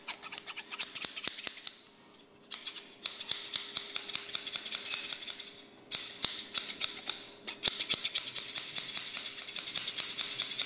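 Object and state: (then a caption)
Steel scissors snipping. Large, dark, solid steel scissors are held close by the fingers, their blades repeatedly snipped and rubbed against each other with no paper present. The result is a rapid run of crisp, bright metallic snips and scraping clicks, broken by brief pauses near 2 and 6 seconds, over a faint steady low hum.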